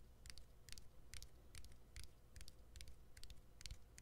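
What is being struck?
Smartphone battery and plastic frame.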